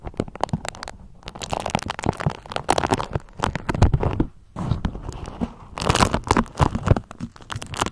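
A pale yellow beeswax-coated cotton food wrap is scrunched and twisted in the hands, with long nails crinkling and scratching the stiff waxy fabric. Dense, irregular bursts of dry crackling and crinkling come with a deep, low rumbling body and brief pauses near one and four seconds in.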